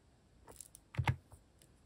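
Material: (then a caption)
Plastic. Fingertips tap a few sparse keys on a mechanical keyboard with cat-shaped plastic keycaps. Two louder presses land close together near the middle, with softer clicks before and after. Each makes a short, dull, low thock that stops almost at once.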